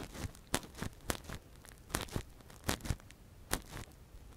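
A gloved hand scratches and probes inside the hollow canal of a soft, translucent, hand-sized silicone ear model (a binaural mic cover) with a thin metal earpick. Close, crackly scrapes and crinkling bursts come in a quick irregular series, each sharp and short, with quieter rustling between them.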